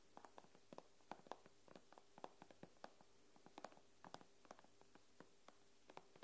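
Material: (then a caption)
Glass. Long nails tap the glass screen of an iPad in a quick, irregular run of around twenty light clicks. Each tap is a dry, sharp tick with a bright edge, dying out almost at once over a faint steady hum.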